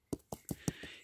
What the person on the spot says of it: you can hear sort of hollow sounding underneath